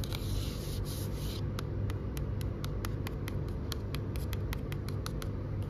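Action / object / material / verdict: tap / hardcover book with coated cover / coated cardboard / none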